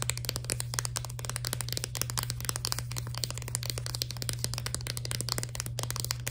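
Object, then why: Plastic blister pack with cardboard backing. A full plastic blister pack of Spring Fever candy with a cardboard backing is tapped rapidly with long nails. The result is a dense stream of sharp, dry, bright clicks and crinkly crackles over a steady low hum.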